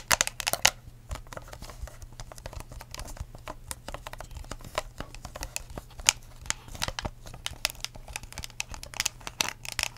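A clear, ridged plastic cup with a curly straw and a blue lid, held upside down so the lid is at the bottom and the hollow, empty cup faces up, is tapped and scratched with long acrylic nails. Dense, bright clicks and crinkly scratches run the whole time with a steady low hum underneath. Every sound is short and dry with no ring.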